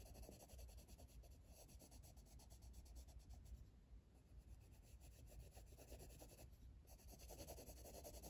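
A hand-held blue colored pencil shades the lower left area of a flat page in an open coloring book. It makes a steady, quiet, low-heavy scratching rub with rapid back-and-forth strokes that blur together, and a short softer lull near the middle.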